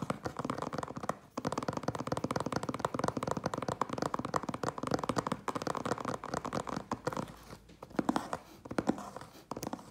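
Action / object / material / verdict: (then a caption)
scrape / closed cardboard box / cardboard / none. Fingertips and nails of both hands scratch the sides of a closed, hollow cardboard Priority Mail box standing on end. A dense, rapid stream of dry scratching and crinkly rasps fills the clip with a hollow mid-range body, pausing briefly just after the first second. It thins out near the end with a few louder, sharper strokes.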